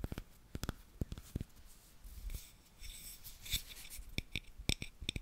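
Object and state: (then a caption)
Frosted glass candle holder. A palm-sized, hollow frosted yellow glass tealight holder with an open top is held in both hands while long fingernails tap and scratch its outer surface. Sharp, quiet clicking taps with a faint bright glassy ping are broken up by a soft, hissy scratching stretch in the middle. Each tap dies away almost at once.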